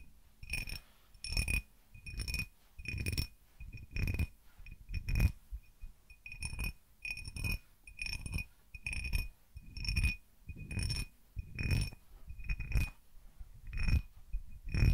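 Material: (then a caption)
Glass. An empty, faceted cut glass tumbler held in the hand is tapped with fingertips and nails in quick clusters, roughly once a second. Each burst gives a short, bright glassy ping over soft, low thuds from the handling, and the ring fades almost at once.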